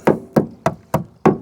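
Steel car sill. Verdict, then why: Sound. A tapping stick strikes the steel sill of a barn-find Proton Saga Iswara car five times, each tap a short, dry knock with a bright attack that fades quickly. The sill sounds solid, which is good news.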